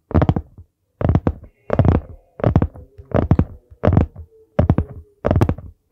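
Fingertips tap the solid board cover of a dark brown hardcover notebook held in both hands, which is then tilted toward the mic. Quick clusters of dull, low, thudding taps come in repeated bursts about every three-quarters of a second, each dying away quickly.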